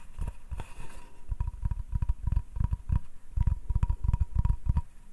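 A flat, solid hardwood cutting board is held upright while fingertips tap its face and nails scratch across it. The result is a quick run of dull, low, dry thumps with almost no ring, mixed with faint, light scratching and a thin steady tone in the background.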